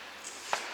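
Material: Nothing is struck.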